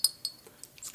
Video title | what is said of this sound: ASMR Halloween Triggers! 🎃 👻 🧙‍♀️ TAPPING, CLINKING, SCRATCHING! | This is like a little potion measuring glass jar.